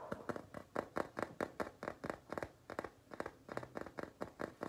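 Fingertips and nails tap and scratch the printed paper-covered cardboard cover of a large, flat, solid hardcover notebook or sketchbook, pink with flowers on one side and an owl on the other. About 21 quick, dry, muffled taps follow one another in an uneven rhythm, each dying away almost at once.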